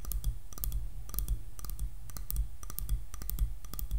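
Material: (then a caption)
Wood. Long nails tap on the back of a light, solid wooden hairbrush. The taps are quick, bright, irregular clicks with almost no ring, set over a steady low hum.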